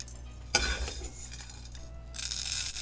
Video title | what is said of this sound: INSTANT DAHI VADA Recipe - DAHI VADA in Ready in 5 MIN.\ How to make Instant DAHI VADA | after two minutes you will hear the crisp sound